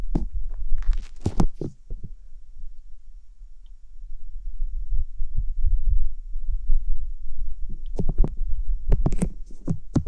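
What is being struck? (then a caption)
Silicone ear replica on a binaural microphone. Fingertips with long nails rub and press over the white silicone ear replicas and rims of a binaural microphone. Bursts of crisp, bright scratching and crackling come at the start and again near the end. In between, a steady stream of deep, muffled thumps and rumbling pulses carries on, close and soft.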